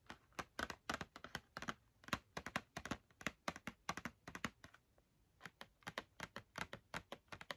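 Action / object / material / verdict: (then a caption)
tap / cardboard box filled with markers / cardboard / none. Long red-painted nails tap rapidly on the front face of a small printed cardboard box of Crayola markers, filled with markers and held in one hand. About 39 quick, dry, clicky taps come in uneven bursts with a short pause near the middle. Each tap stops almost at once with no ring and has a crisp, bright edge.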